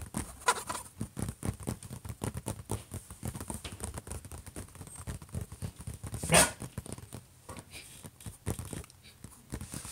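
Fingertips and nails scratch and tap on the closed lid of a silver HP laptop, which sounds hollow. Quick, dense tapping and rough scratching run throughout, with one louder, brighter tap standing out partway through.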